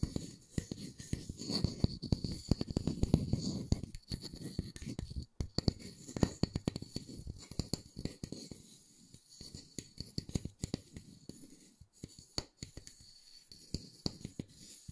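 Fingertips and nails scratch and tap the surface of a solid round wooden disc held up close in one hand. Dense, low-heavy scratching gives way to sparser, sharp taps that die away almost instantly, over a faint steady high tone.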